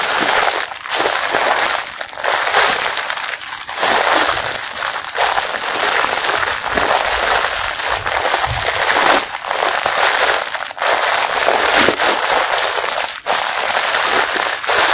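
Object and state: Plastic-wrapped mesh bath sponge.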